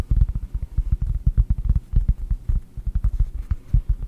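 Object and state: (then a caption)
Cork disc, tapped and scratched. A round solid cork disc held close to the microphone is tapped and scratched with long nails. The result is a rapid, uneven run of dull, deep thumps, with faint bright scratchy ticks layered over them.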